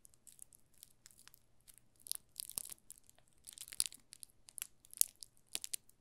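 A solid yellow soap bar wrapped in plastic film is held in the hands while fingertips press and crinkle the film. The result is quiet, irregular, bright crackling and crinkling with sharp short bursts and almost no low end.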